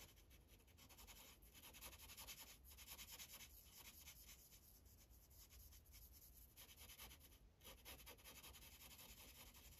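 A magenta Sharpie felt tip colors in a thin white coloring page resting on a plastic clipboard, moving in repeated rubbing strokes. The result is a continuous, quiet, bright scratchy hiss that swells and dips with each stroke, over a low steady rumble.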